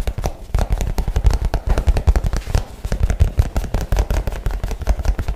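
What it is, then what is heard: Nylon shoulder bag. A light blue nylon messenger bag, soft and hollow, is held near the mic and tapped and scratched fast with fingernails. It makes a rapid, uneven stream of dull, deep thumps with short crackly scratches between them, each tap dying away almost instantly.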